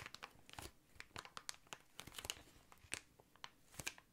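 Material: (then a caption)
Plastic. Fingernails scratch and fingertips tap an inflated, hollow, air-filled clear plastic air column cushion used as packaging. Quiet, bright crinkles and crisp, short clicks come in an uneven string, each snapping off almost at once with soft scratchy rustling between them.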